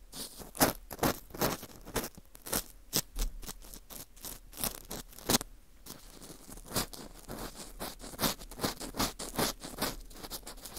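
An orange plastic earpick scrapes inside the center hole of a dry, porous ring of dried wheat gluten fu. Short, bright scratchy strokes repeat about twice a second at an uneven pace, each a quick crackly scrape with almost no ring, broken by a brief quiet gap midway.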